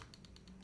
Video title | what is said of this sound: Mammoth75 Keyboard Build - Alexotos Twitch VOD | it's only when you lightly tap it ... it almost sounds like rattle